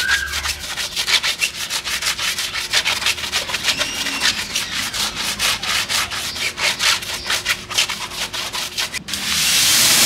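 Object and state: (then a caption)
Rubber off-road tire being scrubbed. A black-gloved hand scrubs the soapy tread and sidewall of a large, muddy rubber off-road tire from a 2018 Can-Am Maverick X3 UTV with a brush; the tire stands upright on its wheel, off the vehicle. Quick, bright, rasping brush strokes repeat steadily for about nine seconds, then give way to a steady, loud, high hiss at the end.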